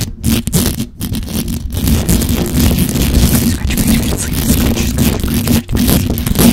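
Long acrylic nails rapidly scratch and tap the hollow metal mesh grille of a black microphone, producing a dense, continuous scraping rumble that is heavy in the low end. There are only brief dips in level along the way.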